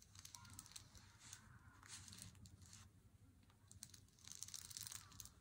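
An unopened Lindt Swiss Classic dark chocolate bar in its paper wrapper, lying flat on a wooden table, is tapped and scratched with fingertips and nails. Quiet, crisp crinkling and scratchy rustles with light, quick taps come in uneven bursts, mostly bright and high-pitched over a low, steady rumble.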